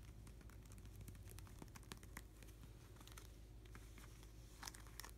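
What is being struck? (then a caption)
Plastic card sleeve page in a binder. Fingertips and nails scratch and tap along a plastic nine-pocket card sleeve page in an open binder, brushing over the sleeves and card edges. A steady run of soft crinkling plays over a low background hum, with quick sharp ticks scattered throughout.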